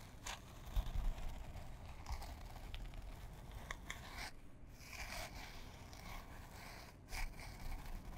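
A small printed canvas fabric pouch, held in both hands, is scratched with long fingernails. Quiet, dry rasping and scraping strokes repeat over a steady low rumble, with a few brighter, sharper bursts standing out along the way.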